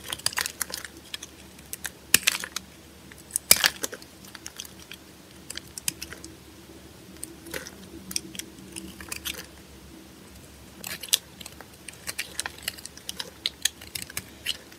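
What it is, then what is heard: Dry bar of soap being shaved with a blade. A small metal blade in a red handle scrapes and shaves curls off the surface of a solid, oval, yellow bar of dry soap held in the palm. Quick, crisp, bright scratches and clicks come in an irregular scatter, each dying away almost at once, over a faint low background hum.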